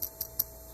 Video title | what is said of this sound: Overheating?!! Test these Items | I tap it and there's something something's loose in there